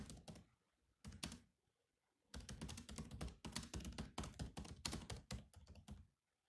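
Fingertips type on the black plastic keys of a silver laptop: a couple of quick taps, a pause, two more taps, then a steady run of continuous typing that stops shortly before the end. Each keystroke is a short, dry click with a low thunk beneath a bright tick.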